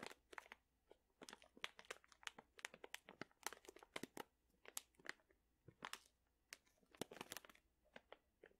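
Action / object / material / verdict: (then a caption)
scrape / plastic pouch of dried chili peppers / plastic / none. A sealed plastic pouch full of dried chili peppers is held at the side and crinkled with the fingertips. The result is a quiet, rapid series of sharp, dry crinkles and crunches, bright and crisp with almost no low end.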